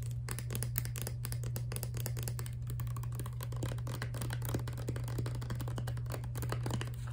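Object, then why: Plastic toothpaste tube. A filled Crest Scope toothpaste tube of laminate plastic, held horizontally, is tapped rapidly and continuously with long dark nails. The result is a dense stream of light, dry clicks over a steady low hum.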